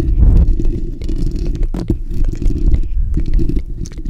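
Fingertips and short nails scratch the bare steel wire-mesh grille of a black desktop condenser microphone with a hollow dome. The result is a continuous, dense, low rumbling scrape with short, faint, brighter scratchy flicks over it, and the level stays fairly steady throughout.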